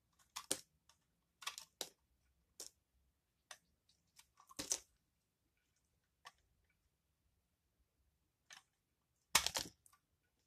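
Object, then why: Bar of laundry soap. A utility knife blade carves crunchy shavings from the end of a solid yellow Aist laundry soap bar held in hand, and the chips fall onto the table. Short, bright, crisp crunches and scrapes come in irregular bursts with quiet gaps between them, the loudest near the end.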